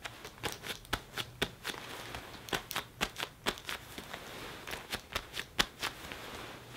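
An open hand pats, taps and rubs the chest and shoulder panels of a black leather (possibly faux) jacket worn on the body, a soft flexible garment. About two dozen quick, bright, crisp taps with very short ring stand out over a soft crinkly rubbing and a faint low hum.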